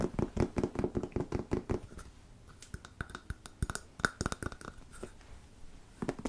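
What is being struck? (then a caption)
Plastic squeeze tube of filler. A medium white-and-red plastic squeeze tube of wood filler, hollow and apparently filled, is held in both hands and tapped and scratched with fingertips and nails. A quick run of dull, short taps with a low-mid body opens the clip, then gives way to quieter scratching and scattered sharper taps with a faint ringing tone around 1.5 kHz. A few more taps close it.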